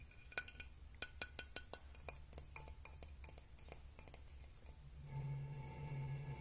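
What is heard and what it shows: A glass object is tapped and clinked in an irregular series of short, bright chinks with a brief high ring over a low background rumble. Near the end the taps fade and a steadier humming tone rises.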